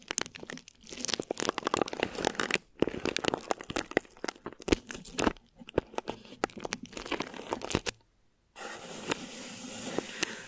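Thin plastic wrap stretched over a microphone head is scratched with the long nails of both hands, producing dense, crackling crinkles and sharp tearing-like scrapes in rapid uneven bursts. After a brief silence near the end, the scratching returns as a softer, steadier bright rustle.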